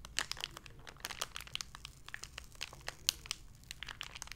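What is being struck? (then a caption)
Clear plastic blister package with card insert. A small, hollow, clear plastic blister package with a printed card insert, holding a lanyard, is crinkled and squeezed with long red-painted nails and fingertips. A rapid series of sharp, bright crackles and clicks comes from it, each snapping off almost instantly over a faint low hum.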